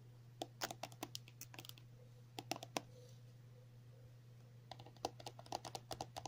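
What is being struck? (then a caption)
Soft plastic cream tube. Long natural nails tap and scratch a filled 50 ml pink and white soft plastic cream tube lying on a table. The result is quick, dry clicks with almost no ring, bunched into bursts with a quiet gap in the middle. A steady low hum runs underneath.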